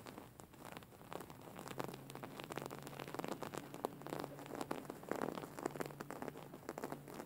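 Long fingernails scratch and rub across a soft, stuffed white cotton pillow with raised embroidery. The result is a quiet, dense run of quick, dry scratching and crackling strokes with short, bright ticks. A faint steady low hum sits underneath.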